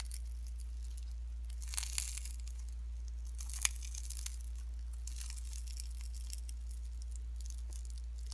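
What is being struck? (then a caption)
Slime with shredded cellophane. Pink slime mixed with shredded cellophane is stretched flat, then bunched and squeezed by fingertips. The result is soft, bright crinkling and crackling with a few sharper crackles standing out over a steady low hum.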